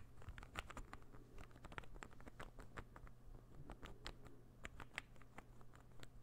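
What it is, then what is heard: Wooden ball puzzle. A small, solid, assembled light-wood interlocking ball puzzle is held in the hand and tapped rapidly with fingertips and nails. The result is a quiet, irregular patter of short, dry wooden clicks with bright tops that die away almost instantly, over a steady low hum.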